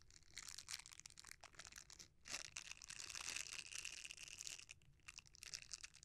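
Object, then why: Silicone bristle scrubber. A red silicone bristle scrubber is folded and rolled while fingertips rub and squeeze its bristles. The result is a close, bright crinkling and crackling texture, almost all high-frequency, with a faint steady tone near 2.7 kHz. It continues in dense bursts with a brief lull around the two-second mark.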